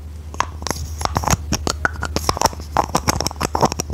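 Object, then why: Hollow plastic toy. A hand-sized hollow orange plastic toy with a decorative flower is held in both hands and tapped and scratched with long red nails. Quick, dry clicks and light scratches come in an irregular patter over a low steady hum. Each tap dies away almost at once.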